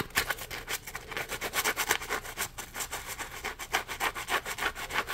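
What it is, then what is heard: Foam scrub sponge being scratched. Fingertips rub and scratch the ridged surface of a small, solid, yellow textured polymer foam Scrub Daddy puppy sponge held in both hands. About 25 quick, dry rasping strokes follow one another in a steady rhythm, bright and scratchy with almost no low end and no ring after each stroke.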